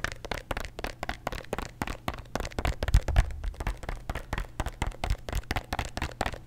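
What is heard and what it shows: A plastic bottle of antacid tablets is tapped rapidly with nails and possibly shaken. Dozens of quick, dry clicks arrive in a fast, aggressive stream over a low thumping body, with a couple of heavier knocks near the middle. Each tap dies away almost at once.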